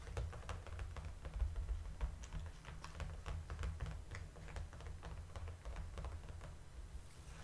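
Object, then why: Clear plastic clamshell packaging. Long, dark-painted nails and fingertips tap on the flat front face of a large, hollow, clear plastic clamshell blister pack holding a Star Wars apron insert. Quick, irregular, light clicky taps with short, hollow plastic ticks sound over a steady low rumble.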